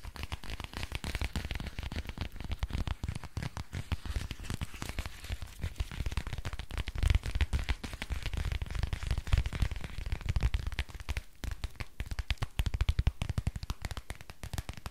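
Fingernails tap and scratch across the surface of a thin, flexible grey plastic book in a close-up. Dense, rapid crinkling taps and scratches run steadily throughout, with short sharp clicks over a deep, muffled low thump.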